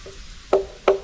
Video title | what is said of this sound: We toured a Mayan stingless bee organization in Valladolid. | this tree, it's completely hollow inside. It's completely empty